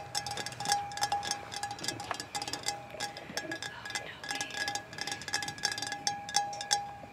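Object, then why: Painted metal playground pipe. Fingertips and nails of two people tap and scratch a hollow, orange-painted metal playground pipe with chipped paint. The result is a rapid, uneven run of short, bright metallic clinks, each with a brief ring around 810 Hz, mixed with high scratchy rasps.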